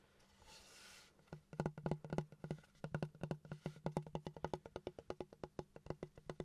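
Fingertips and nails tap and scratch along a large, flat, solid wooden plank with grain and a knot, held horizontally and tilted. A soft, hissy scratch opens the clip, then a quick run of dry, low, hollow knocks follows, each dying away almost at once.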